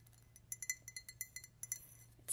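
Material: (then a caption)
Glass. An empty, clear drinking glass with a printed Mickey Mouse design, held up in both hands, is tapped and clinked with fingernails. About ten quick, bright clinks ring out around 2 kHz with sparkling high overtones, each dying away almost at once over a faint low hum.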